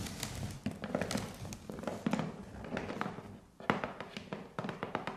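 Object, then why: Corrugated cardboard box. Long painted nails tap the sides and corners of a hollow, medium corrugated cardboard parcel box wrapped in postal tape and resting on carpet. The quick, dry taps come in uneven bursts with a brief pause near the middle. Each tap gives a dull, hollow knock with a low body around 200 Hz that dies away almost at once.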